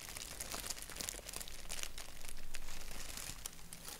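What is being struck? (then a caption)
Thin paper napkin. A thin white paper napkin with a black doodle print is held flat while fingertips and short nails rub, scratch and crinkle it. The result is a steady stream of dry, papery crinkles and scratchy rustles with brief sharper bursts, over a faint low hum.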